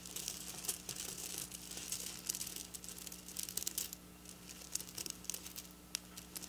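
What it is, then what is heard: Sequin fabric being scratched. Long black nails scratch and tap the rows of a flat silver sequin fabric lying on a counter. The result is a quiet, bright, crinkly rustle dotted with sharp little clicks, over a faint steady low hum. The scratching is denser in the first four seconds, then thins to scattered taps.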